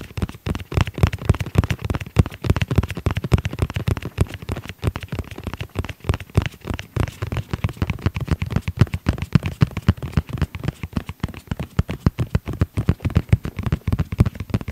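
Fingertips tap rapidly and irregularly on the surface of a tablet-sized black hard-shell zippered case with red trim, held in both hands. The taps are dense, short, dull knocks with a low thud around 94 Hz and almost no ring, coming at roughly 220 per minute across the clip.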